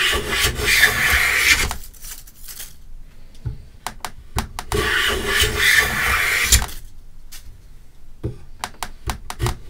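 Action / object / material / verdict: scrape / pine plank under a metal hand plane / pine wood / none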